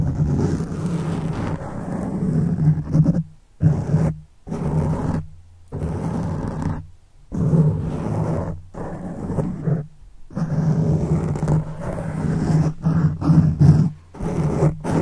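Fingertips of one hand scratch a black foam microphone windscreen, producing dense, low, rumbling scratches with a steady hum-like tone. The scratching comes in bursts of varying length, broken by brief silent gaps.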